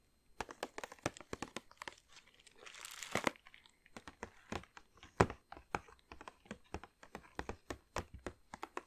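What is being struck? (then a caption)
Plastic bag filled with chocolates. Long nails tap and scratch a large glossy plastic bag filled with chocolates, held close. About forty quick, sharp crinkling taps come in a steady run, with a denser stretch of rustling, scratching crinkles around the third second.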